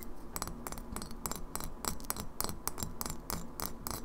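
Long fingernails tap rapidly on the bottom and base edge of a partly filled glass kombucha bottle held tilted. About sixteen short, bright clicks sound in quick succession, each dying away almost at once over a steady low rumble.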